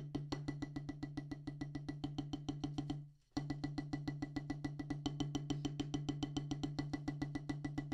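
Two wooden drumsticks tap rapidly on a solid black rubber practice pad set on a wooden base. About 53 quick, dry, woody clicks sound at a steady pace, with a low, even tone under them. The taps fade briefly just after three seconds, then resume at the same pace.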